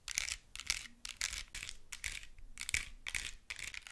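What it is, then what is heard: Plastic squishy toy tapped and scratched with nails. Long nails tap and scratch a plastic squishy ice cream toy with a purple glittery soft top and a blue plastic cone base, held close. The result is quick bursts of bright, crisp scratching and clicking, mostly high in tone with little low end and a tone around 2.3 kHz. The strokes stop short and come in uneven groups.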